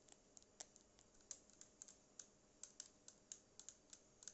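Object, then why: Plastic speaker casing. Long painted acrylic nails tap the hollow casing of a small black cylindrical Bluetooth speaker with a matte plastic or rubberized body and a yellow logo. About nineteen quiet, bright, clicky taps land in an irregular rhythm, each dying away almost instantly over a faint steady hiss.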